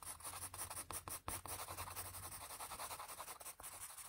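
A patterned blue wooden graphite pencil shades around an eye on a flat sheet of drawing paper resting on a firm surface, using quick back-and-forth strokes. The result is a soft, continuous scratchy rasp that swells and dips with each stroke, with bright papery hiss over a faint low hum.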